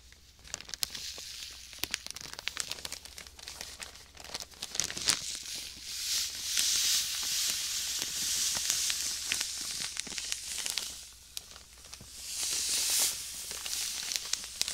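A clear plastic bag of white sand is held in one hand and squeezed and crinkled close up. It makes dense, bright crinkling and rustling with quick crackly ticks, swelling into louder, hissing stretches in the middle and again near the end.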